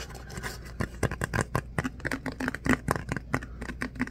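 Fingertips scratch and rub along the ribs of an empty, hollow, tall disposable paper coffee cup with a corrugated outer wall, and the cup is then held up. The result is a rapid series of short, dry, papery scratches and ticks, each dying away almost instantly, over a faint low hum.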